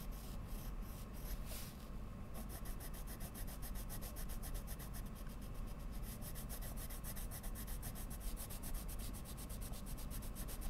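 A hand with long lilac nails draws with the tip of a wooden coloured pencil on a large sheet of Strathmore mixed media paper laid on a drawing board on a solid flat surface, while other pencils lie still on the table. Steady, soft rubbing and scratching strokes continue throughout over a low, constant rumble, with quick, regular high ticks adding a brisk rhythm after the first couple of seconds.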